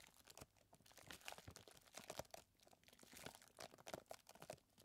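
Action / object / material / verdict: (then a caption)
scrape / plastic zip bag of chocolate chips / plastic / none. A hand presses and squeezes a clear plastic zip bag full of small chocolate chips, then holds it up. Quiet, dense crinkling and crunching plays in quick bursts, with a bright, papery crackle and short clicks that stop almost instantly.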